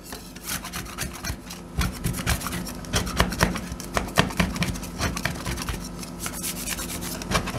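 Two metal spatulas with yellow-black handles, held in black-gloved hands, repeatedly chop and scrape a thin, partly frozen layer of milky cream with whole blueberries on a stainless steel ice-roll cold plate as blueberry ice cream freezes. The result is a rapid run of solid, non-hollow metal taps and rough, rasping scrapes with bright edges, over a steady low tone.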